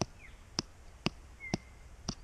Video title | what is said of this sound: [MeredithWolfe] How ya make DAMPER in the Bush - with Beer and Rosemary! | if you give it a flick and it sounds hollow, it's ready, and that does not sound hollow